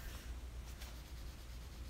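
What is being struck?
Nothing is struck.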